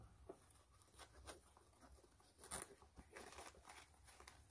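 Long nails scratch the white canvas upper of a low-top sneaker near the eyelets. Quiet, dry rasping strokes come in uneven bursts, with a bright, hissy texture over a soft low rumble. Each stroke stops short with almost no ring.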